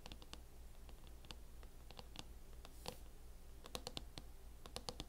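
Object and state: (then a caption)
Plastic laptop case tapped with fingernails. Long fingernails tap and scratch the lid of a closed MacBook fitted with a teal matte plastic hard-shell case. The result is quiet, irregular clicky taps with brief bright ticks and soft scratching over a steady low hum.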